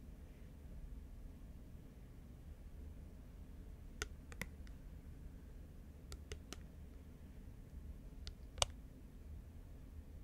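Long nails tap a small, round, thin, hollow clear plastic lid held in both hands, giving sparse, sharp, bright clicks that die away almost instantly. The taps come in small clusters around the middle and near the end, over a quiet, steady low hum.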